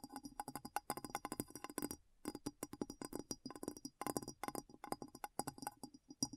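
A glass bowl is tapped in a quick, uneven run of light, dry taps, each with a faint high ring that dies away almost at once. The tapping pauses briefly around the two-second mark before resuming.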